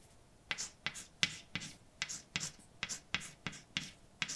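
A white chalk stick writes words on a large, flat, dark painted blackboard with a solid surface. Each stroke is a sharp tap followed by a short, bright scratch, repeating in a steady rhythm with brief quiet gaps between strokes. The sound is dry and quick, with little low end.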